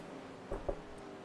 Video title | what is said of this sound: Mondays of Thunder Offline CWS Race #17 at Phoenix (Finale) | that was me knocking on my desk